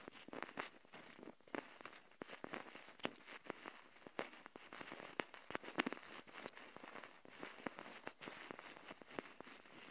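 Long nails tap rapidly and irregularly on the shell of a small, hollow plastic Kinder Joy egg container held in both hands. The result is a quiet stream of sharp, dry clicks with almost no ring or low end, and a bright, crackly texture between the louder taps.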